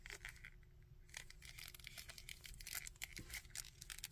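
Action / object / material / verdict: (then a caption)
tap / small plastic action figure / plastic / none. A small plastic Red Skull action figure is handled up close: fingernails scratch its coat and tap its head while fingertips click its joints. The result is a quiet, dense run of bright, crackly scratches and sharp dry clicks with no ring, over a low steady rumble.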